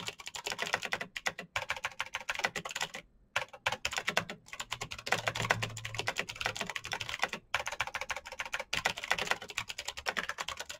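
Fast fingertip typing on a black Razer BlackWidow mechanical keyboard with plastic keycaps on clicky green switches. It makes a dense stream of sharp, bright clicks with brief pauses between bursts.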